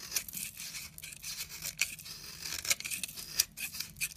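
A utility knife blade shaves and scrapes thin layers off the surface of a solid, rectangular, palm-sized orange bar of soap held in the hand. The sound is a steady, bright, crisp scraping with almost no low end, broken by sharp, short clicks and swells.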